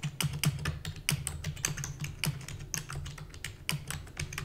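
Rapid typing on a full-size black plastic keyboard with hollow keys, tapped with long natural nails and fingertips. A quick, uneven stream of bright, short clicks over a steady low hum.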